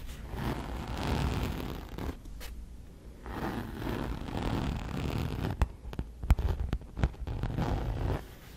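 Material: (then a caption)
Coated canvas. Long nails and fingertips scratch and tap the flat front panel of a large logo-printed coated canvas handbag, faux-leather-like with metal buckles and handles, held up close to the mic. Soft, low-heavy scratching swells and fades in broad strokes. Near the end come a few sharp, bright taps.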